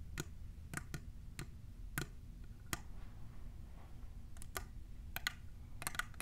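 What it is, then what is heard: Plastic tumbler tapped with nails. Long nails fitted with plastic clips, on both hands, tap the sides of a tall, hollow, clear plastic printed tumbler cup. The taps come as quick, sharp, bright clicks with almost no ring, spaced irregularly over a low, steady background rumble.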